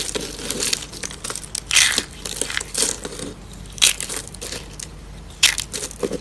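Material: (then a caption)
Soap. A hand with long pink nails squeezes hollow, rolled, blue-and-white striped dry soap curls on wood, crushing them into small pieces. The sound is a dense run of dry, bright crunching and crackling, with louder snaps near 1.8, 3.8 and 5.4 seconds.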